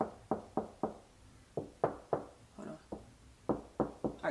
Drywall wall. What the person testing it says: it sounds like nothing's behind it that's because it's not if it echoes it isn't a stud behind it